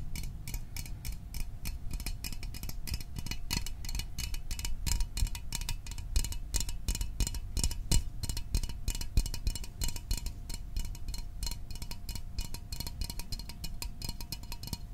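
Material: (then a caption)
Metal. A small, hollow metal Fanta orange soda can is held in the hands and tapped quickly with fingertips and nails. The result is a rapid, steady stream of short ticking taps, with low, dull thumps under bright metallic clicks that die away almost at once, over a faint constant tone.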